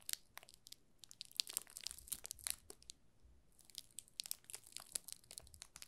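A yellow solid bar of soap wrapped in clear plastic film with a label on the back is held in both hands while fingertips rub and press the film. This produces quiet, bright, dense crinkling and crackling, with two busy stretches separated by a brief sparser pause near the middle.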